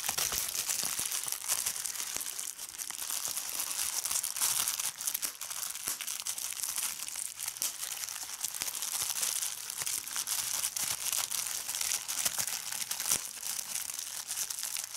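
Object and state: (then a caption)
Plastic bubble wrap being crumpled and popped. Fingertips with long red nails squeeze and crumple a large sheet of clear plastic bubble wrap, popping its bubbles. A dense, steady, bright crinkling runs throughout with sharp snapping pops scattered through it and almost no low end.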